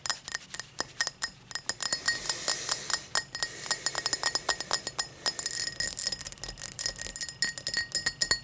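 Long black nails rapidly tap and scratch the side of an empty, hollow, tall cut-crystal tumbler lying on a towel. Dozens of bright, glassy clinks follow one another, each dying away almost at once, with a faint high ring over soft scratching between taps.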